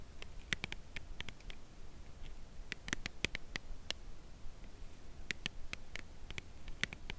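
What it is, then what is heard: Cardboard chocolate bar box. Long acrylic nails tap and scratch the side of a white Lindt Creation Crème Brûlée cardboard box holding a chocolate bar, which is held horizontally. The result is a run of sharp, dry, bright clicks, some close together, with faint scratching over a low, steady background hum.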